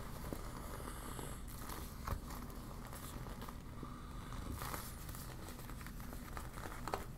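Long black nails crumple and scratch a deflated yellow PVC vinyl beach ball with warning print, crinkling the plastic. Soft, steady crinkling and scratching sit over a low, dense rustle, with a few sharper crackles poking out now and then.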